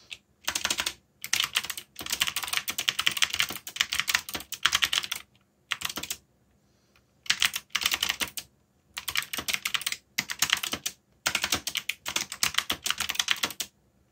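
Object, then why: Plastic mechanical keyboard. Fingertips rapidly tap the keys of a backlit black plastic mechanical keyboard while typing. Dense, bright clicking comes in bursts of typing separated by brief silent pauses. Each keystroke is sharp and dies away almost instantly.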